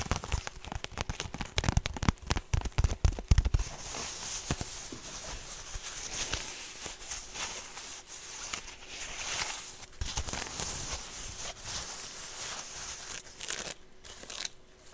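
A woven straw handbag held close is tapped and scratched with long painted nails. Dense, crackly clicks and brief dry taps fill the first few seconds, then thin out into sparser hits over a steady soft rustling hiss that stays bright through the end.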